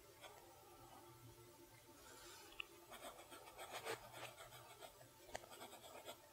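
A steel fountain pen nib scratches across a lined page of a spiral-bound notebook while writing in cursive. The quiet, bright, scratchy strokes rise and fall in bursts, broken by two sharp ticks.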